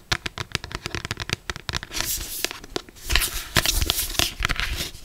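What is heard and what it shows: Long black pointed acrylic nails tap and scratch the front of a closed paperback novel with a glossy paper cover, held in both hands. Quick, crisp, bright taps come in a rapid irregular run, broken by longer dry scratching swipes across the cover that give a rough, papery rasp.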